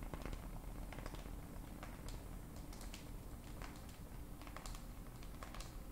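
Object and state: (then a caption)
Glass and metal smartphone. Long acrylic nails tap rapidly on the glass screen and frame of a black glass-and-metal smartphone held in both hands. Quick, irregular, bright clicks patter over a steady low background hum at a quiet level.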